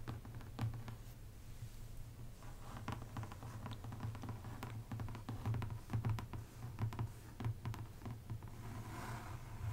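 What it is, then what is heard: Paperback coloring book with a card cover. Both hands tap and drum with long painted nails and fingertips on the glossy card cover of a large paperback adult coloring book ("Rêves, 100 coloriages"), a solid stack of paper lying flat on a table. The result is a quiet, irregular patter of short, dull clicks and taps over a steady low hum.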